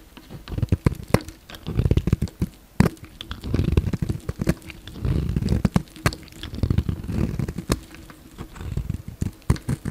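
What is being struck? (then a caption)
Bar of soap cut with a utility knife. A utility knife blade carves thin slices off a solid pink bar of soap, scraping the slices away. Soft, low scraping swells mix with many quick, sharp clicks and ticks across the clip, with faint bright crackle above.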